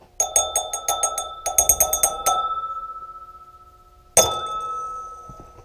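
A real glass wineglass that survived a test against a 125 dirtbike is tapped with a pin to prove it is glass. There are fifteen quick, bright clinks: two fast runs of taps and then one single, firmer tap. Each leaves a clear, high ringing tone that sustains and slowly fades.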